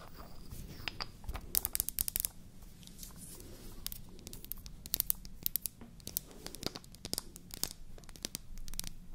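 A small, solid, white-painted wooden toy foundation bottle with a natural wood cap is held in one hand and tapped and scratched with long nails. Quick, dry, bright clicks and scratchy taps come in irregular bursts over a low, steady background rumble. Each tap dies away almost instantly, with no ring.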